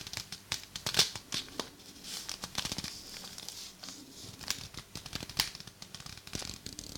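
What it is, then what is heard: Tissue paper being crinkled. A thin, folded, hand-sized sheet of purple tissue paper is held in both hands close to a binaural microphone and crinkled and rubbed between fingers and thumbs. The sound is a quiet, bright stream of papery crinkles and rustles, with many short, sharp crackles; the loudest snaps come at about 1 second and 5.4 seconds. There is almost no low end, and each crackle dies away almost at once.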